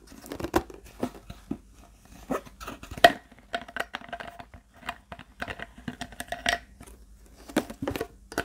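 A large, empty, hollow clear plastic Fiji water bottle is scratched and crinkled with fingertips and nails across its body and label. Many sharp, dry crackles and scrapes come in uneven bursts, some loud snaps standing out, with a hollow plastic ring in the midrange.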